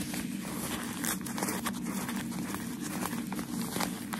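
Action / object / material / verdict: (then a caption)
scrape / thin crumpled packaging paper / paper / none. Thin white crumpled shoe-wrapping paper is held in both hands while fingertips and nails scratch and tap its wrinkled surface and gently crinkle it. The result is a steady stream of soft, bright crackling and rustling with light taps mixed in, over a constant low hum.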